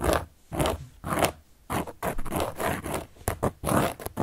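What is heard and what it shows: A carving tool scratches across a large, round, solid cork board in a series of short, irregular strokes. Each stroke gives a dry, rasping scrape with a muffled, midrange body and a faint bright edge, separated by brief pauses.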